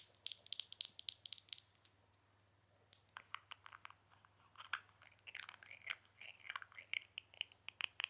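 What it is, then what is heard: Small glass jar with plastic lid. Long nails tap and scratch a small clear glass Dipbrow pomade jar with a black plastic lid, filled with product, across its base, lid and side. Quiet, bright, crisp clicks and scrapes come in quick clusters, with a short pause near the middle before denser scratching resumes. Each tap stops instantly with no ringing.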